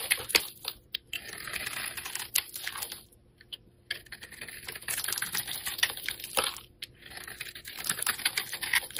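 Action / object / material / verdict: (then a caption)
scrape / bar of soap carved with a metal blade / soap / none. A metal blade carves a hand-sized, rectangular, cream-colored solid bar of soap with a blue glitter edge, scraping off flaky shavings. The result is dense, crisp, bright scraping and crackling, broken by short sharp clicks and a few brief quiet pauses, with almost no low end.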